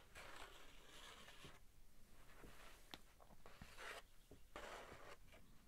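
A large, thin sheet of drawing paper bearing a pencil costume sketch is held up in both hands, flexing slightly while a fingertip traces and slides across its surface. Soft, airy rustling swishes come in bursts with a few faint, brief ticks between them, all at a low, quiet level.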